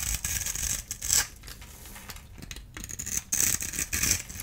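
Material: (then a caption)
Soap. A rectangular solid bar of blue-and-white striped dry soap, held in one hand, is scraped and cut into cubes with a small handheld blade tool, and crumbs fall off. Bright, dry scraping and crisp crackly cutting sounds come in uneven bursts, with quieter rasping stretches between them.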